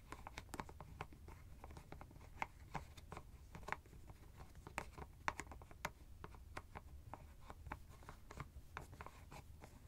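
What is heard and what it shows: Fingers twist and scratch the white plastic screw cap of a hollow teal fabric ice bag. The result is a quiet, steady stream of short, sharp plastic clicks and scratchy ticks that die away almost instantly, over a faint low rumble.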